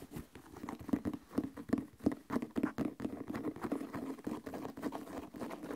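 Fingertips tap and scratch an empty white leather sneaker with a thick rubber sole, working over the leather upper and the textured sole edge. A steady run of quick, soft, dry taps and scratchy pattering with a muted low-mid tone, each touch dying away almost instantly.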